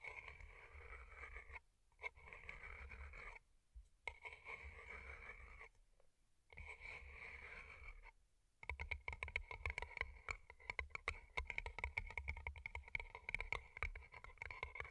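Long nails tap and click on the rhinestones of two identical hollow, rhinestone-covered paper cups. For the first eight seconds there is a steady, bright scratching and rustling, broken by a few short pauses. Then a dense run of rapid, crisp clicks with a high sparkle continues to the end.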